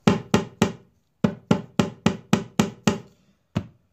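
Eleven taps on a wooden guitar top over a loose brace, given as a comparison, come in a quick run of three, then seven, then one after a pause. Each tap is a short, low, woody knock centered around 180 Hz with a brief buzzy tail as the top rattles against the loose brace.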